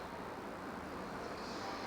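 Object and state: Nothing is struck.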